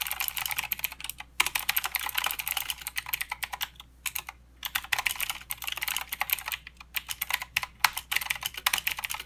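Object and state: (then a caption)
Plastic mechanical keyboard being typed on. Fingertips of both hands type continuously on a plastic mechanical keyboard with clicky blue switches and plastic keycaps. Dense, bright, sharp clicks come in rapid runs, with brief pauses between bursts. The sound is crisp and high-pitched, with almost no low end.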